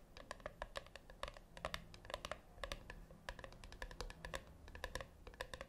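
Long nails tap rapidly on the top lid of a flat, round brushed-metal tin that is likely hollow. The result is a quick, uneven run of short, sharp metallic clicks, each with a brief ringing tone and a bright edge, over a quiet, low background rumble.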